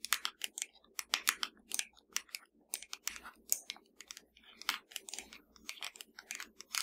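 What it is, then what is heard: Plastic TV remote control. A slim black plastic Fire TV remote, lying flat and hollow, is tapped with the long dark nails of both hands. A quick, uneven run of sharp, bright clicks with almost no ring clusters in fast bursts, each tap dry and light with little low end.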